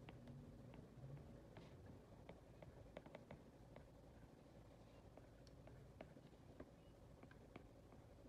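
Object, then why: Plastic stylus on a glass tablet screen. A plastic stylus tip writes and taps on the glass touchscreen of an iPad, with a long red nail touching near the screen. About twenty soft, short clicks stand out over a quiet, low rumbling background with a faint steady hum.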